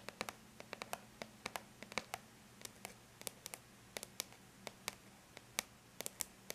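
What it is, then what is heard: Aluminium laptop lid tapped with fingernails. Long bare natural fingernails lightly tap the flat silver-gray surface of an aluminum laptop lid. About 27 short, bright clicks arrive in an uneven rhythm, each dying away almost instantly over a faint, steady low hum.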